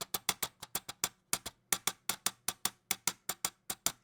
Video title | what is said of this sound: Is the VAXEE E1 the ERGO GAMING MOUSE KING? | They fixed it a little bit over here in the Dex, but the G Pros used to be really bad.